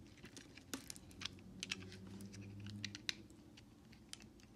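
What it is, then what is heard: Bar soap being carved. A utility knife blade scrapes and carves curls off a palm-sized, solid white Dial bar soap held in the hand, breaking off chunks. Quiet, crisp, bright scratching and sharp little snaps come in uneven bursts over a faint low steady hum.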